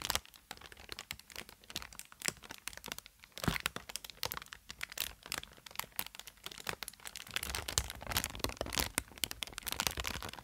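Fingertips squeeze and crinkle the air-filled cells of a long vertical strip of inflated, green-tinted plastic air cushion packaging. Dense, bright crinkling and sharp crackles come in quick bursts. They grow busier and louder toward the end, over a faint low rumble.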